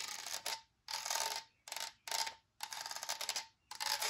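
Long nails tap rapidly on the side of a large, hollow, empty translucent white plastic spray bottle held in the hand. The result is several bursts of bright, clicky tapping separated by short pauses, with a faint hollow ring around 900 Hz.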